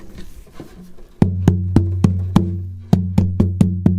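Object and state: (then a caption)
Acoustic guitar spruce top tap tone. An acoustic guitar's Sitka spruce top, being thinned from a too-thick 3.2 mm to about 3 mm, is tapped to check its tap tone. After a quiet, faint stretch, ten distinct knocks sound at an uneven pace, each a dull low thump centered around 180 Hz with a short, damped ring.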